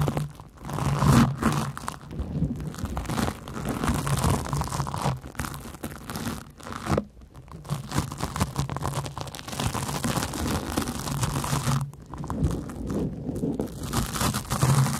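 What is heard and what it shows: A large, porous yellow cellulose sponge is scratched with long nails close above the microphones. It gives a steady, dense run of rough crunching, tearing and crinkling scrapes. The sound is mostly low and muffled with little high-end brightness, and it dips briefly between strokes.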